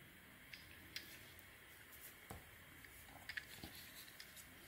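A metal utility-knife blade scrapes and carves shavings off a palm-sized, solid cream-coloured bar of soap stamped "SOAP BAR" held in the hand. Several short, crisp, bright ticks and scrapes stand out over a quiet, steady hiss, each dying away almost instantly.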